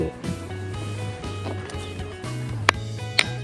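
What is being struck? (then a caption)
Roadside rock struck with another stone. A roadside stone on Iki Island is struck twice with another local stone, giving two sharp, clanging metallic rings like iron over background music. The speakers guess that some component in the rock causes the unusual ring.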